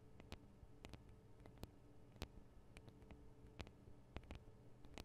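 Long acrylic nails on both hands tap the small, hollow metal microphone capsules of a Tascam DR-40 recorder. The result is a quiet, irregular series of sharp, dry clicks with very short, bright tails over a steady low hum.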